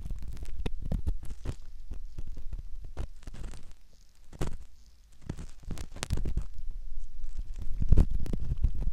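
A metal ear pick scratches at the canal of a soft silicone ear model, producing close, low, muffled scraping and rubbing with irregular short crackly clicks. The sound is dominated by deep rumbling tones, with a brief quieter lull near the middle before the scratching resumes.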